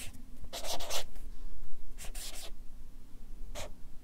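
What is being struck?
Felt-tip marker on paper sheets on a clipboard.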